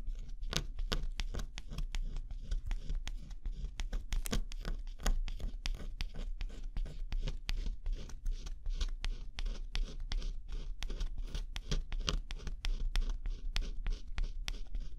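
A thin pointed scraper stylus, guided by a fingertip, scratches the black scratch-off coating off one figure on an assembled flat cardboard jigsaw puzzle. Quick, steady scratching strokes follow one another closely for the whole clip, each a short, dry, bright scrape over a constant low rumble. The strokes end quickly and keep an even level throughout.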